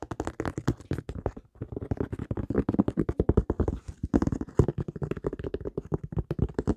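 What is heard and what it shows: A single white high-top sneaker is held up with its textured rubber sole facing the microphone and tapped with fingertips and nails. Dozens of quick, dull, low-pitched taps follow one another with almost no ring, pausing briefly around the one-and-a-half and four-second marks.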